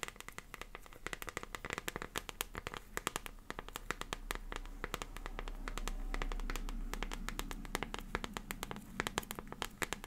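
A small transparent plastic liquid glitter phone case is tapped rapidly with long fingernails while being turned in the hands. Dense, irregular, sharp bright clicks overlap a soft rustling handling noise that swells in the middle of the clip and then fades back.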